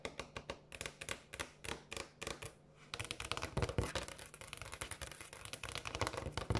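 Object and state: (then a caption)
Granite countertop. Long acrylic nails tap fast on a large, solid, polished granite countertop. Short bursts of sharp, bright clicks with quick pauses come first, then turn into a continuous, louder flurry of rapid tapping. Each tap is hard and dry, with almost no ring.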